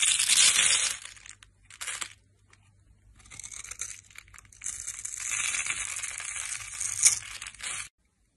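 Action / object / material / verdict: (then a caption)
scrape / bar of soap carved with a metal blade / soap / none. A solid red bar of dry soap, held in the hand, is carved with a metal blade, its surface scraped and scored into small cubes and crumbs. Bright, crisp crunching and scratchy scraping come in a loud opening burst and a short second burst, then a quiet pause. A longer stretch of steady, gritty scraping builds to a sharp crackle near the end before stopping abruptly.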